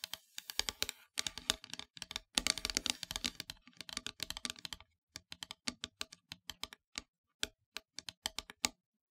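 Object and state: Painted wooden heart plaque.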